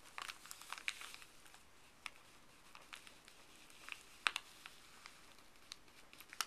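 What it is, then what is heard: Paper bag being crinkled. Fuzzy gloved fingers rub and crinkle a folded, thin printed paper pharmacy bag. Soft, bright paper crinkling runs throughout, broken by sharp, dry crackles that die away at once, with the loudest snaps near the end.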